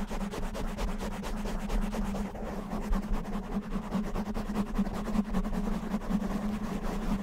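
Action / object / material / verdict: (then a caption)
scrape / foam microphone windscreen / foam / none. Fingertips of both hands rub and scratch a soft, porous black foam windscreen covering a microphone, producing a dense, continuous run of quick muffled scratching strokes. The sound is heavy and low with a steady hum near 195 Hz and almost no bright content.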